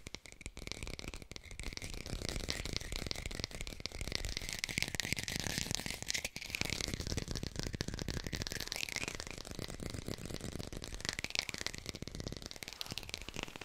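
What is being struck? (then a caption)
Artificial plastic lemon. A textured artificial plastic lemon is fast-tapped with the fingers and recorded on a hi-fi microphone. The result is a steady, dense stream of quick, dry, crisp taps with no ring. It carries a rattly, broadband texture throughout.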